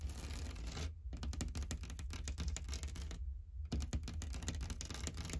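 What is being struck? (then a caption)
Painted drywall wall with knockdown texture. Long dark-painted fingernails tap and scratch across a large, flat, painted drywall wall with a knockdown texture and a solid surface. Quick, dry clicks and scraping strokes come in dense bursts, broken by two brief pauses, over a steady low rumble.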